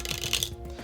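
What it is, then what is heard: Metal credit card. A Bank of America Premium Rewards card, a metal card of undetermined origin, is dropped in a drop test. It strikes twice in quick succession with bright, high-pitched clinks centered near 3.5 kHz. The clinks cut off quickly, leaving a low steady hum.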